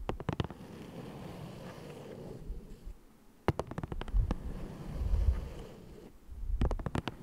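A flat green printed cardboard box of Ticonderoga pencils, hollow and likely full of pencils, lies on a dark fabric surface and is tapped and scratched with fingertips and short nails. Three clusters of quick, crisp taps stand out, separated by stretches of soft, low, muffled scratching and rubbing. The sound is deep and dull overall, and each tap dies away almost instantly.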